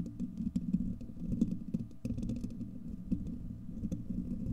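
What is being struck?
Steel wire-mesh microphone grille.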